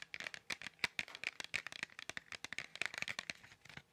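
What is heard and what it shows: A small, hollow Crayola markers cardboard box, apparently full of markers, is held in both hands near the mic and tapped and scratched with long fingernails. The result is a rapid, irregular series of dry, bright clicks and scratchy rasps with almost no low end, centered around 2.3 kHz. Each tap dies away almost instantly.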